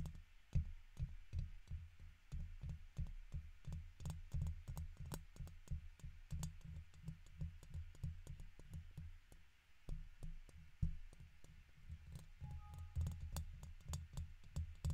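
A red plastic guitar pick held in the fingertips scratches the left side of a silver condenser microphone's hollow woven metal mesh grille. The close scraping comes through as a rapid, uneven run of short, deep thumps and muffled rustles, booming low with faint sharp ticks riding on top.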